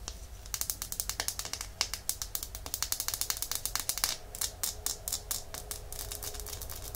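Long nails tap and scratch along the glass body of a small, full red glass nail polish bottle held sideways. A rapid, uneven run of sharp, bright clicks and ticks stops almost instantly after each contact, with brief scraping between taps. A faint low hum sits steadily underneath throughout.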